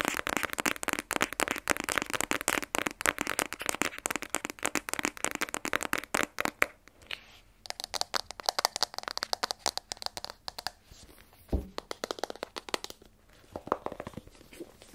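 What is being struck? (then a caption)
Small rigid cardboard phone box. Fingernails tap rapidly on the face and sides of a small black rigid cardboard iPhone 12 Pro box, hollow with the phone inside and held in one hand. The taps are dry, bright clicks that stop almost instantly. They come in a dense, fast stream for about the first six and a half seconds, then in looser bursts with short pauses between them.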